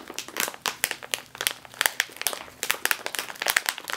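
A sealed metallized foil chip bag is squeezed and crinkled with the fingers and long nails. The result is a dense run of sharp, bright crackles and crunches with no low end and almost no ring, the sharp peaks coming in quick irregular bursts throughout.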